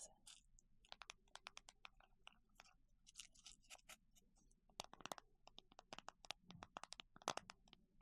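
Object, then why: Plastic container holding small plastic clasps. A plastic container holding small circular plastic clasps is tapped with fingertips, making quiet, irregular bursts of crisp, bright clicks and light rattles. The taps are short and dry with almost no ring, and they grow denser and a little louder in the second half.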